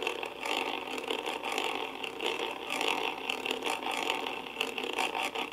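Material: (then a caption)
Metal mesh. A wooden-handled brush rubs across the top of a karaoke microphone's hollow metal mesh grille, making a continuous scratchy, rattling whir. The sound is bright and dense, with a strong band around 2.7 kHz, steady fizzing above it, and almost nothing in the low end.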